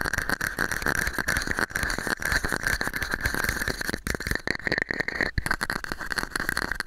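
A small, hollow, empty red and white plastic cup held over the microphone is scratched and tapped with fingernails. The result is a dense, continuous stream of scratchy clicks and taps with a hollow, boxy ring centered around 1.5 to 2 kHz and a low rumble underneath.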